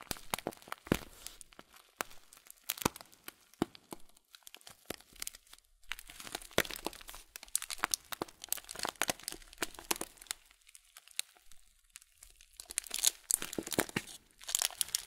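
A full blue Kölln plastic bag of oat flakes is tilted, handled, and squeezed with the fingers. It gives dense, bright plastic crinkling and crunchy crackles in uneven bursts. Brief quieter pauses fall between the bursts.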